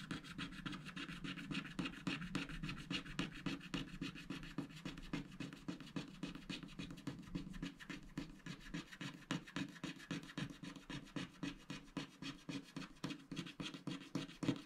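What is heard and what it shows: A wooden stylus scratches a small cactus shape near the left edge of a black, wax-coated scratch art card lying on a mat, while the other hand rests flat on the sheet to hold it. Quick, short scratching strokes repeat steadily at about three or four per second, each a dry, gritty rasp with a bright edge and no ring.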